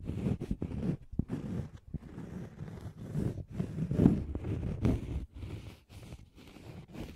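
Fingernails scratch across a thin, solid, round cork coaster held beside the microphone. The result is a run of dry, rasping scratches in uneven bursts, full and low in tone, with brief gaps between strokes.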